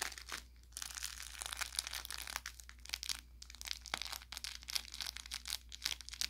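Fingertips rub and squeeze an orange velour plush carrot toy with crinkle filling, working along the seam toward the tip. Dense, bright crinkling and crackling comes in quick bursts of sharp snaps, with brief quieter pauses, over a faint steady low hum.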